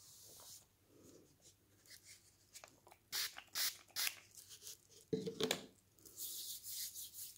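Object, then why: Softcover book with thick glossy paper pages. Fingertips rub and press the open pages of a thick softcover book with thick glossy paper, lying open on a stack of books. Soft, bright swishing and crinkling strokes come in irregular bursts, with a few louder, sharper rubs in the middle and a steady hiss of rubbing near the end.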